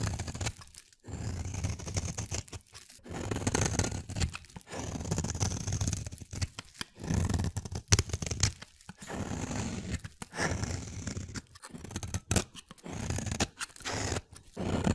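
A solid blue, palm-sized oval bar of soap is held in the hand and cut along its edge with a utility-knife blade, peeling off fibrous shavings. Each stroke gives a dense, crunchy scraping and tearing sound, heavy in the low end, separated by brief quiet pauses between cuts.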